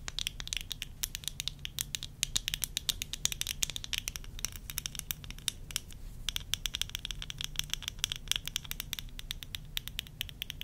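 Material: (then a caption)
Plastic. Long nails tap and scratch rapidly on worn tortoiseshell plastic eyeglass frames with lenses. The result is a dense stream of sharp, bright clicks with a scratchy texture over a faint low hum, briefly thinning out near the six-second mark.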